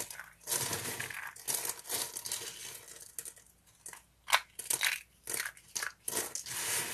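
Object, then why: Soap flakes. Thin, dry green soap pieces and flakes are crushed and rubbed between fingers, making bright, crisp crunching and crinkling bursts in an irregular rhythm. Short, sharp crackles stand out over a steady rustle, with almost no low end.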